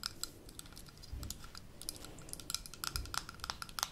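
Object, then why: Small glass jar with metal screw lid. Long nails tap rapidly on the gold metal lid of a small amber glass jar held up close. The taps come as an irregular stream of crisp, bright clicks with a short metallic ring, over a soft low rumble.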